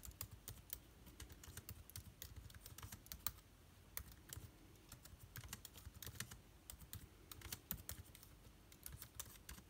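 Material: Plastic.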